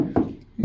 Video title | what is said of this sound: MODIGT Sound Deadener: Unboxing Review | it gets a little more solid, you know, basically because, you know, you're getting to a smaller metal area